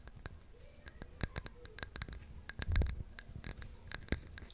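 Long pink nails scratch and tap the glazed side of a tall, hollow white floral ceramic mug held in one hand. Many sharp, short clicks with bright ringing tones come over a soft, rough scratching bed, and a louder burst of low rumble comes near the middle.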